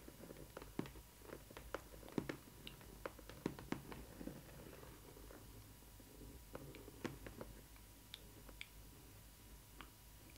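Long red nails scratch and tap the flat side panel of a cardboard doll box printed with Stitch and flowers. Sharp, dry taps and light scratching come in irregular bursts over a faint low hum, with no ring after each hit.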